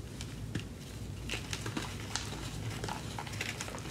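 Hands with long yellow-green nails squeeze, crush and rub pinkish-white chunks and powder of gym chalk (magnesium carbonate) in a white plastic tub, letting it crumble through the fingers. Soft, dry crunches and bright crackles sound in scattered bursts over a steady low hum.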